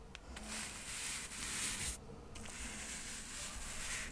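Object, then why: Stack of cork coasters. A small, solid stack of square cork coasters, held in the fingers, is brushed across its surface with a soft paintbrush. A steady, bright, airy hiss of bristles rubbing on cork runs throughout, with a brief quiet gap near the middle before the brushing resumes.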